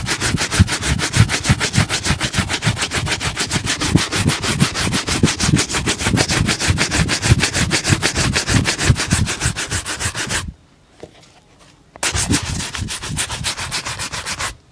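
A wooden-backed bristle shoe brush buffs one hollow, empty black leather dress shoe held up in one hand, with rapid back-and-forth strokes. The brushing gives a steady, rhythmic scratchy swish with bright bristle hiss and a low hollow thump from the shoe body. It stops briefly near the 10.5-second mark, then resumes for a few more seconds before ending.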